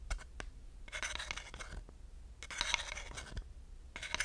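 A long wooden dowel is rubbed and scratched across the grooved surface of a flat, solid wooden slotted hot pad. Bursts of dry, bright scratching and ridged rasping come in uneven strokes, separated by short sharp ticks and quieter gaps.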